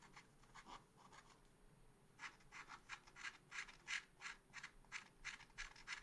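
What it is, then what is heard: Scratch art paper being scratched. A pointed wooden stylus scratches a small, flat, solid black-coated scratch art sheet in a spiral pad. About 20 short, dry scratching strokes come roughly three per second, bright and raspy with energy centered near 1.7 kHz. A softer rubbing passage comes in the first two seconds before the strokes grow louder.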